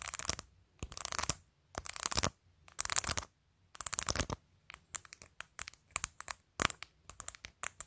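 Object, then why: Plastic phone case covered in acrylic press-on nails. Long nails scratch over colorful acrylic press-on nails glued onto a clear plastic phone case, then tap along the case's top edge. Several bright, rasping scratch bursts give way to a quick series of short, crisp clicking taps, all with no low end or ring.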